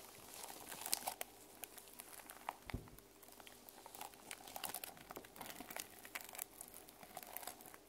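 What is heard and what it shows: Long nails scratch across the plastic sequins on the spine and cover of a small sequin-covered journal held in the hands. The result is a dense run of quiet, dry crinkling and clicking scratches, bright in tone and with no ring.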